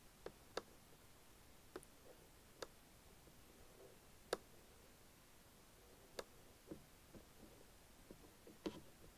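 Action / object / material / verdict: tap / plastic keyboard top panel / plastic / none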